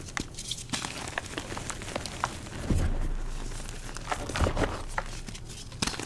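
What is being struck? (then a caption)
Dyed gym chalk blocks. Purple-dyed gym chalk (magnesium carbonate) blocks, as soft, solid powder and chunks in a bowl, are squeezed and crumbled between fingertips and palms. Dry, crumbly crunches and crackles come in quick irregular bursts over a low rumble, with a louder crushing swell midway.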